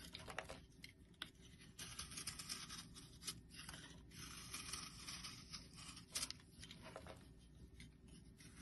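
A solid, round yellow bar of soap is held in the hand and shaved down with a metal blade. The long, dry scraping strokes come through as bright, crisp rasping with a low background hum, broken by a few sharper clicks and scratches as the blade bites in.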